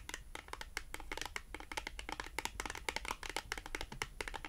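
A small, thin, flat, solid navy blue cardboard France Rugby product tag is held in both hands and tapped and scratched with long acrylic nail tips. The result is a quiet, rapid, uneven stream of crisp, dry clicks and light scratches with a bright papery edge and almost no ring.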